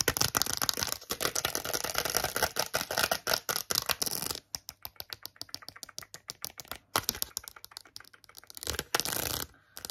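Long acrylic nails tap and scratch quickly on a small, flat cardboard card holding a set of plastic press-on nails. The first four seconds are a dense, bright scratching and clicking, followed by sparser crisp, dry taps. A short burst of scratching returns near the end.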